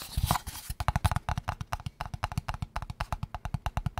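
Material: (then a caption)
Cardboard. Fingertips and nails tap quickly on the sides of a small, square, closed, hollow kraft cardboard box held in the hands. A brief scratchy rustle opens the clip, then about 28 rapid, dry, hollow taps follow in a steady rhythm, each with a low thud and a short boxy ring that dies away almost instantly.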